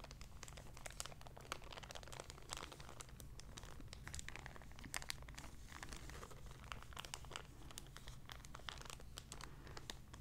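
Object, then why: Small empty plastic zip-lock bag. A small, empty, clear plastic zip-lock bag is crinkled, folded and rubbed between fingertips and long red nails. The result is a continuous, quiet stream of crisp, bright crinkles and crackles over a steady low background rumble.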